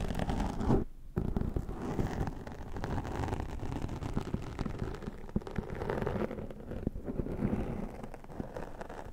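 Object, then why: Foam microphone windscreen scraped by a plastic comb. A tortoiseshell plastic comb drags across the top and side of a black foam windscreen dome on a microphone. It makes a dense, muffled, low scratching rumble with almost no bright content. The scraping runs continuously, dipping briefly near the first second before carrying on steadily to the end.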